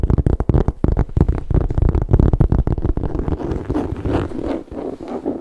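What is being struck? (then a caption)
Saffiano leather handbag base. Fingernails and fingertips rapidly tap and scratch the base of a hollow gold saffiano leather MK tote, held bottom-up with its metal feet showing. Quick, low, hollow thuds crowd the first three seconds, then give way to a softer, continuous scratchy rustle.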